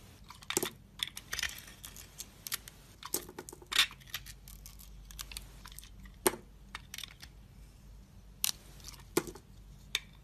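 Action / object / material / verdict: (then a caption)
scrape / bar of soap cut with a metal knife blade / soap / none. A solid pink-and-white glittery soap bar is held in the hand while a metal utility knife blade shaves thin slices off its edge. Crisp, bright scraping and cutting sounds come in short, sharp crackly bursts scattered irregularly over a quiet background.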